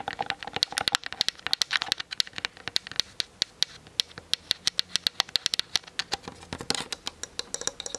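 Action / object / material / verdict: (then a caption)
tap / plastic camera body / plastic / none. Long fingernails tap rapidly and scratch across the plastic body and lens of a Canon DSLR camera. The result is a fast, steady stream of sharp, bright clicks with almost no low end, broken by brief hissy scratching passes near the start and end.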